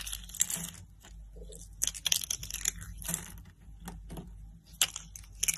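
Fingers with lilac nails pick up thin, hollow, blue-and-white striped dry soap curls from rows laid on a woven mat and crush them into brittle shards. The result is a run of sharp, dry, bright crunches and crackles with brief crinkling in between, each break dying away almost instantly.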